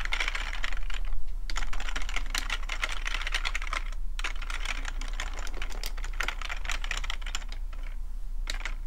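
Fingertips of both hands type quickly on a full-size black plastic computer keyboard with a hollow plastic body, resting on a fuzzy rug. A dense, irregular stream of short, dry clicking taps runs throughout with a bright edge, over a steady low hum underneath.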